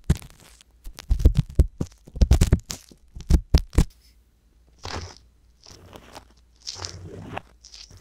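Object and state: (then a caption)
Silicone ear scratched with an ear pick. A wooden ear pick with a metal tip scratches inside the canal of the left silicone ear on a binaural microphone. For the first four seconds there are quick bursts of crackly, crunching scrapes with deep, bassy thumps. After that come softer, hissy brushing swishes separated by short quiet gaps.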